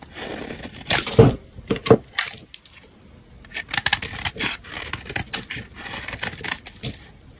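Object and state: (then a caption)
Bar of soap being shaved. A metal utility-knife blade shaves and slices thin layers from the end of a solid, hand-sized, rectangular pink bar of soap held in the hand. A few sharp, crisp cuts stand out near the start, followed by a steady run of softer, uneven scraping shaves with bright, papery edges.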